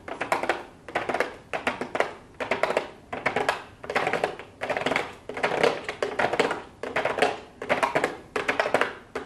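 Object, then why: Cardboard palette box with plastic lid. Long blue acrylic nails tap rapidly on a pink cardboard makeup palette box with a clear plastic window lid, lying flat on a desk. The taps come in short, evenly spaced bursts of quick, crisp clicks with a bright midrange tone, very little low end, and almost no ring.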